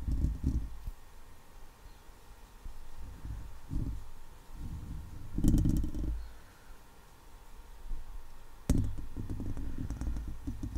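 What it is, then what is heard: Metal mesh microphone grille. Long patterned acrylic nails scratch and tap the top of a hollow, rounded steel wire-mesh microphone grille. The result is a close, muffled run of low, boomy rubbing and dull thumps in irregular bursts, with a sharper tap near the end and almost no bright content.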